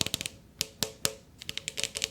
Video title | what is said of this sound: July Monthly Favorites Haul (ASMR) | I love that sound it makes when I tap the sides